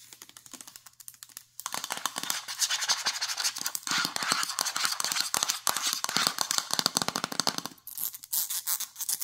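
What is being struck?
Plastic jar with ribbed plastic lid.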